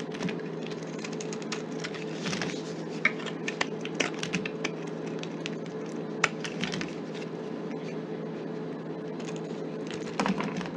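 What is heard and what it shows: A knife blade scrapes and carves a solid, rectangular, palm-sized green soap bar held in a gloved hand, shaving off curls and chunks. Dense, crisp scratching and crumbly crackles ride over a steady low hum, with a few sharper snaps where pieces break away and a louder scraping burst near the end.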